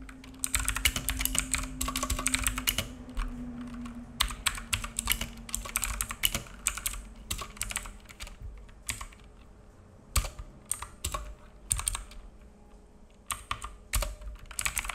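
Fingertips of both hands type on a black full-size mechanical keyboard with plastic keycaps and a hollow case, resting on a wooden desk. Bursts of rapid, bright clacky key taps with a low thocky body are broken by short pauses, over a faint low hum that fades during the first half.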